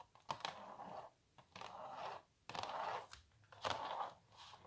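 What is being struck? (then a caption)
Printed canvas stretched on a wooden frame. Long nails scratch and tap a small, hollow printed canvas stretched on a wooden frame. Short dry taps mark the start of repeated bursts of papery, mid-toned scratching with bright edges, separated by brief quiet gaps.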